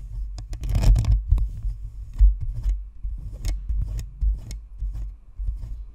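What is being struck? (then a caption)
Plastic ball microphone with perforated metal grille. Long nails scratch across the top of a white spherical Blue Snowball microphone, over its hollow plastic shell and perforated metal grille. Irregular dry, crackly scratching bursts come through, each with a heavy low boomy thump and brief bright hiss, with short quiet gaps between strokes.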